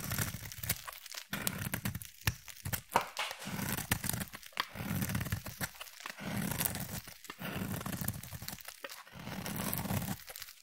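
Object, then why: Solid bar of soap. A utility knife blade scrapes thin shavings off the edge of a solid, opaque, hand-sized orange bar of soap. Dry, crisp crunching and tearing strokes come in bursts with short silent gaps between them. Each stroke has a bright, rasping top and a soft low body.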